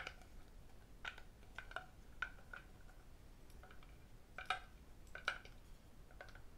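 Fingers wearing several metal rings tap and click against the sides of a hollow, empty red lacquered wooden octagonal tray held up in the air. Scattered sharp, bright clicks with a brief ringing tone around 1.5 kHz sound against a quiet background. Each tap dies away almost instantly.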